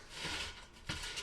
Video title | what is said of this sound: WW Digital Wellness Workshop #352 EGGSTRA CREDIT: Keep Your Ride or Die Foods! | can you hear how crispy these are